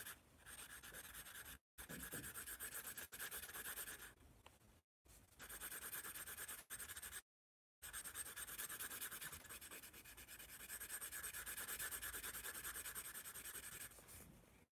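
A yellow pencil tip scratches across the page of an upright spiral-bound paper sketchbook while drawing. Dense, rapid, bright scratchy strokes with a papery hiss run almost continuously, broken by a few short silent pauses.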